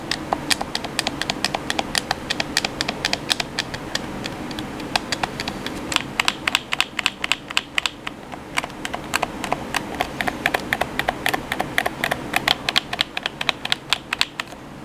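Thumbs and fingertips press and tap the buttons and thumbsticks of a black hollow plastic gamepad held in both hands. A rapid, irregular stream of sharp, bright plastic clicks and taps runs through the whole clip, each snapping off almost instantly over a faint, steady background.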